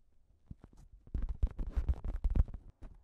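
Long nails scratch and tap a thin pink plastic shower cap with a cat print stretched over a recorder. A few soft, scattered taps give way to a dense run of quick, muffled, low, crinkly tapping and scratching that fades back to sparse taps near the end.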